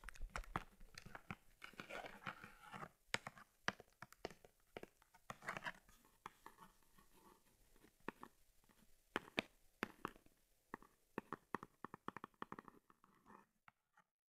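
Long red nails tap and scratch the front of a closed brown leather camera case for an Argus C3, its lens cover embossed "argus," held in both hands. Sharp, dry clicks of the nails on leather mix with rough, crinkly scratching in uneven bursts that thin out and stop just before the end.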